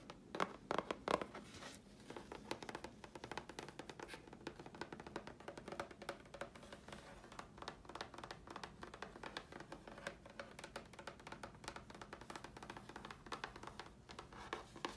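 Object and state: Grey chipboard sheet.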